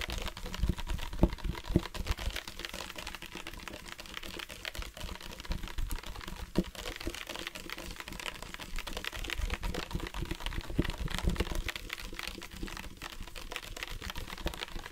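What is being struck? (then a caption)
Hard plastic water bottle. Fingertips and nails tap on the side of a hollow black hard-plastic sports water bottle with a flip-top cap, partly filled with water. The result is a dense, uneven stream of quick, dull taps with short, low thuds and little ring.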